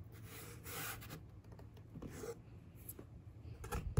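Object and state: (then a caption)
Cardboard box panel being scratched. Fingertips and a long nail lightly trace and scratch across a hollow brown corrugated cardboard box panel. Soft, airy scraping swells come and go over a quiet low rumble, with brighter sweeps early on and a sharper scratch at the very end.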